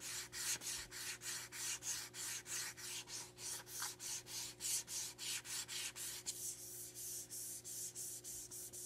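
Long nails quickly scratch and rub the face of a tall, narrow, blue printed cardboard eyeliner box, hollow and light and held upright. About 25 dry, bright, hissy strokes come in a steady rhythm of roughly three per second, with almost no low end. The strokes turn thinner and more airy near the end.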